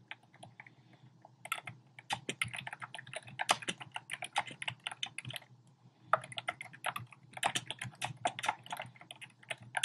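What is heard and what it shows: Fingertips and short nails type rapidly on a compact black plastic typewriter-style keyboard with round plastic keycaps. The result is dense, dry, bright clicking taps in quick bursts, with a brief pause just before the six-second mark.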